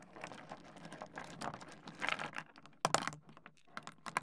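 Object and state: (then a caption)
Pile of small stone pebbles. Fingertips scratch into a heap of small solid stone pebbles on a wooden desk and rub the stones together. Dense, rapid clicking and gritty rattling continue throughout, with brief, brighter bursts of clatter standing out in the second half.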